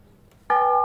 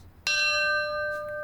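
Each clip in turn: First: cast metal bell. Second: brass ship's bell with a piercing ring.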